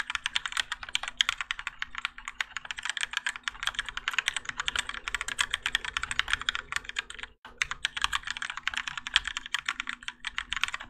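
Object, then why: Mechanical keyboard with plastic keycaps. Both hands type continuously with their fingertips on a Keychron K4 compact mechanical keyboard with Gateron Yellow switches, grey and orange ABS plastic keycaps, and a plastic and metal case, resting on a desk mat. Rapid, bright, clacky keystrokes with very short decay run almost nonstop, with a faint steady low hum underneath. There is one brief pause about two thirds of the way through before the typing resumes.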